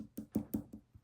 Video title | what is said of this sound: Fun with UV activated resin! Cary Quilting Company, 4/30/24 | hopefully you can hear that they are literally hard plastic at this point